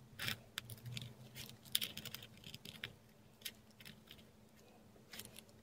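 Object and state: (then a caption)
Korean paper scratched by a dip pen. A metal dip pen nib writes letters in ink on a flat sheet of textured Korean paper, heard close-up. Short, bright, dry scratches come in quick irregular bursts, with a faint steady low hum underneath.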